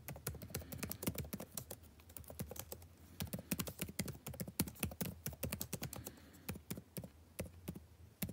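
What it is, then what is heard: Plastic laptop keyboard being typed on. Fingertips type continuously on the blue-backlit plastic keycaps of a dark laptop keyboard. Rapid, uneven streams of short, dry taps carry a soft low thud beneath bright click edges, with almost no ring after each keystroke.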